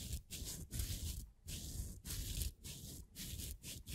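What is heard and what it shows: A small, thin, solid, layered laser-cut plywood figure is held between thumb and fingers while the fingers rub and flex its thin wooden pieces. The result is a series of close, scratchy rubbing bursts, separated by brief quiet gaps, with a dull low rumble underneath and a bright, dry crackle on top.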